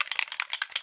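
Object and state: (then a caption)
Spray bottle rattling with steel mixing beads. A non-aerosol dry shampoo spray bottle is shaken, and the stainless steel beads inside rattle to mix the two phases of the formula. Eight quick, bright, clicky rattles are heard with almost no low end or ring. This rattle is normal and means the beads are mixing the formula, which should be shaken for at least 5 seconds before spraying.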